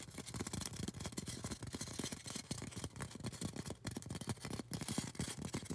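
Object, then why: Polystyrene foam cone. Long orange acrylic nails rapidly tap and scratch a tall, solid white polystyrene foam cone. The result is a dense, nonstop stream of short, dull thuds over a bright, dry scratching hiss, with each tap dying away almost instantly.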